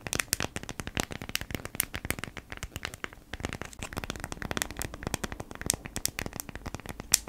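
Long nails scratch across the surface of a folded beeswax-coated cotton food wrap held flat. The result is a dense run of quick, dry, crackly scratches with a bright, papery edge and no ring between them.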